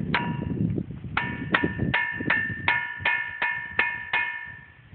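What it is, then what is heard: Ringing rock that rings like a bell when struck. A hammer strikes a boulder at Ringing Rocks Park in Upper Black Eddy, Pennsylvania, in a steady series of blows. Each strike gives a clear, bell-like ring with a high tone near 1.9 kHz and a lower partial around 950 Hz, rather than a dull thud. Faint low rumble lies beneath the strikes.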